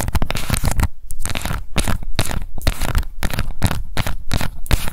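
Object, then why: Small round plastic cosmetic compact. A small round pink plastic cushion foundation compact, held in both hands, is scratched with long nails across its base, its printed label and its rim. Dense, rapid bursts of crackly, tearing scratches are heard, with a strong low thump underneath and bright, noisy texture on top, broken by brief pauses.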